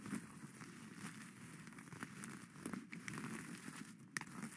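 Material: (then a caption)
Plastic sequins. Plastic skeleton-hand claws held in both hands scratch and rake across the green and black sequin-covered cone of a witch hat laid flat on its satin brim. A soft, continuous crackling and crinkling rustle is heard, with sharp, bright clicks standing out here and there.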